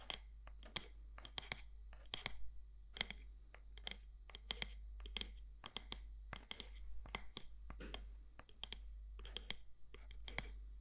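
Long nails tap the side walls of a medium matte black candle jar with a gold lid, possibly glass or ceramic. The result is many quick, sharp, bright clicks in an irregular rhythm, each dying away instantly over a steady low hum.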